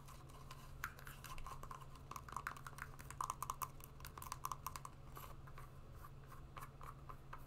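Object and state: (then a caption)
Suede wedge shoe scratched and tapped with nails. Long nails scratch and tap along the suede side of a brown suede wedge shoe, hollow and empty, held upright. Quiet, rapid scratching with short, crisp taps ringing around 1 kHz clusters in the middle of the clip over a steady low hum.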